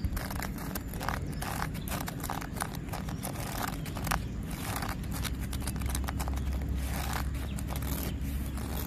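Fingernails and fingertips scratch and pat the rough bark of a solid tree trunk. The result is a steady, close-up crackling scrape over a low rumble, broken by short, bright bursts of friction.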